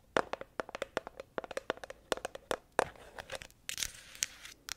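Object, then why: Plastic honey tub with lid. Long acrylic nails tap and scratch a medium plastic honey tub with a green lid that appears full, working over the lid and the wrapped label on its sides. About 23 quick, dry clicks with a hollow tone near 500 Hz come first. They give way to brighter, hissy scratching strokes and a few final taps.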